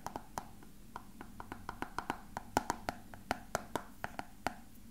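A small, hollow, frosted translucent plastic box that appears empty is held in both hands and tapped and lightly scratched with fingertips and nails. About two dozen quiet, dry, hollow clicks with a mid-pitched knock near 850 Hz come in an uneven, brisk rhythm. Each click dies away almost instantly, with faint scratchy texture between them.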